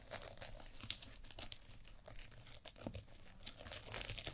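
Long nails scratch and brush across a small sequin fabric eye mask held over a black mannequin microphone head. The result is a dense run of bright, crinkly scratches and quick clicks with a soft low rumble underneath. The texture stays steady and close, with a few sharper ticks standing out.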